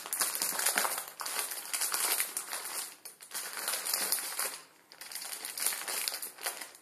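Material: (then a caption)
Plastic film. A plastic film ramen noodle packet resting on a wooden table is rubbed and crinkled with the fingertips. It makes dense, bright, crackling crinkles in continuous waves, with brief lulls near the 3 and 5 second marks before the rustling picks up again.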